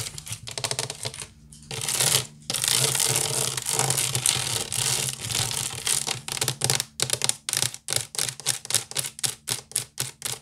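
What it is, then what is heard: Wicker basket scratched with nails. Fingernails of both hands scratch fast over a large, hollow, woven wicker basket, making a dense, bright, dry rasping. It starts as continuous busy scratching with a brief pause, then settles into a quick, even rhythm of separate strokes. There is little low end and almost no ring after each stroke.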